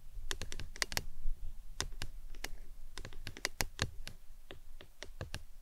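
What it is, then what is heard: Plastic tumbler cup tapped with nails. Long acrylic nails tap quickly and irregularly on a hollow, empty-looking printed plastic lemonade tumbler cup standing upside down on its green lid. Each tap is a short, sharp click with a bright top that dies away almost instantly, heard over a steady low hum.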